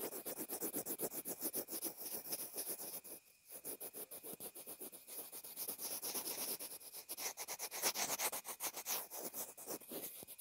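A pencil point scribbles over a small white plastic inline earphone remote and mic, making rapid, bright scratchy strokes at about four per second. The steady scratching dips briefly around the third second, then continues with little low end until the end.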